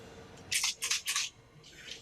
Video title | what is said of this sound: LTI Colloquium: Language Understanding for Embodied Agents Using Large Models as Duct Tape | our helper is going to shake it and verify that it does in fact rattle